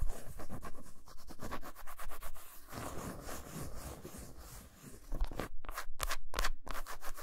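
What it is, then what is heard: Milk chocolate bar scratched with nails. Long pointed nails rapidly scratch the smooth back of a flat solid milk chocolate bar lying face-down on a towel, its surface dotted with small crumbs. Quick, dry, bristly scratching strokes run in uneven bursts and briefly soften into a duller rubbing. They then return as sharper, brighter scrapes toward the end.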